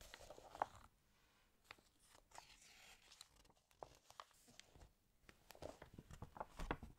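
Fingertips rub and turn the pages of an open, water-damaged paper fashion magazine. Soft, quiet rustling is broken by short, sharp crinkles and crackles, some bright. A few louder snaps stand out near the start and end.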